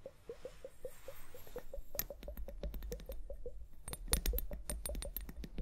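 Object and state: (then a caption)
Plastic liquid hourglass. Long painted nails tap and scratch a small, hollow, clear plastic liquid hourglass filled with liquid and clear beads, held upright on fur. A steady run of quick, light taps each carries a short hollow tone, over a soft low rumble. Partway through, sharper, brighter clicks join in.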